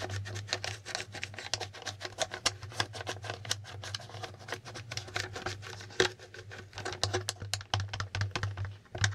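Fingertips repeatedly flip and tap the plastic letter tiles of a plastic Hangman board game held at the side. The result is a fast, uneven run of short, bright clicks and ticks. A steady low hum runs underneath.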